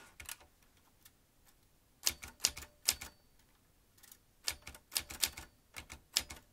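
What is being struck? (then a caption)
Metal manual typewriter. Fingertips of both hands type fast on a vintage metal manual typewriter with round keys, producing dense bursts of sharp, bright key clacks with almost no low end. About fourteen distinct strikes land in clusters separated by brief pauses, each snapping off almost instantly.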